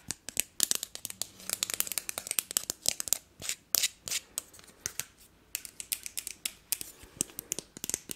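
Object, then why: Thin wooden disposable fork. Long nails scratch along the handle and tines of a thin, flat, solid, hand-sized wooden disposable fork. The result is a rapid, uneven series of dry, bright scratchy clicks and rasps, with almost no low end. Each stroke stops dead with no ring.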